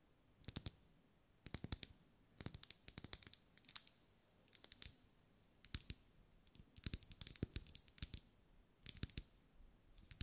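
A lit pink ribbed solid wax pillar candle is tapped and scratched with long acrylic nails. The result is short, dry, bright clicks in quick clusters separated by brief pauses, over a faint low hum.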